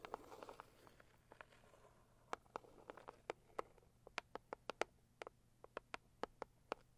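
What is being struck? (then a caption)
Closed cardboard box tapped with fingernails. Long acrylic nails tap the lid of a medium, closed, hollow pink floral cardboard box. A quick flurry of soft, papery taps gives way to spaced, crisp clicks with a short, hollow midrange knock and almost no ring, over a faint steady low hum.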